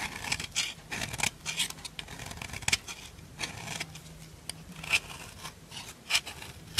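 A solid white bar of soap held in the fingers is scraped repeatedly with a dark metal file, giving a run of dry, bright, rasping scratches with short pauses between strokes. Powdery soap flakes come off the bar as it is filed.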